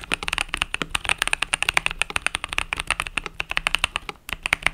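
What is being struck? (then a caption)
Mechanical keyboard with plastic keycaps. A compact mechanical keyboard with pastel purple-and-yellow plastic keycaps is typed on rapidly by fingertips. The result is a dense, fast run of about 37 short, bright clicks that stop dead with almost no ring, sitting mostly in the upper range with a peak near 2.3 kHz and very little low end.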